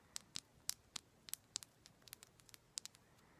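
A solid raw rose quartz chunk held in the hands is tapped and scratched with long black pointed nails. About thirteen sharp, quiet clicks land at uneven intervals, each bright and high with almost no ring.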